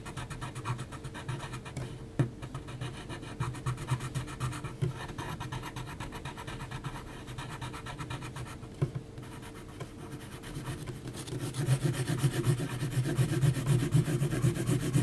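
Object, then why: Textured mixed-media paper sheet with graphite pencil. An HB graphite pencil makes rapid, short hatching strokes across a flat sheet of heavy, textured mixed media paper. The result is a steady run of dry, scratchy rasps with a low, gritty body and a few sharper scrapes, growing louder and denser in the last few seconds.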